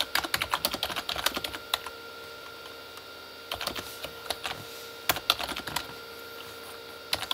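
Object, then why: Plastic mechanical keyboard. Both hands type with their fingertips on a full-size Corsair K35 plastic mechanical keyboard with red-backlit plastic keys. Bright, short, clacky keystrokes come in quick bursts, separated by brief pauses around the two-to-three-and-a-half-second mark and near the six-second mark. A faint steady tone runs underneath.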